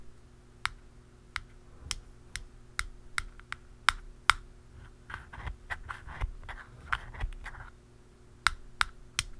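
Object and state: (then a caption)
Hollow plastic aerosol can cap. A blue plastic pen taps the flat top of a hollow black plastic aerosol can cap, making sharp, dry, clicky taps with a bright edge and almost no ring. The taps come spaced apart, then crowd into a quicker, scratchier run in the middle before a few separate taps return, all over a faint steady low hum.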